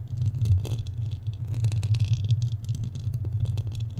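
Fingernails scratch and tap the sides of a black studio microphone's metal mesh grille. A dense, rumbling low scraping is heard throughout, with faint bright crackles and ticks layered over it.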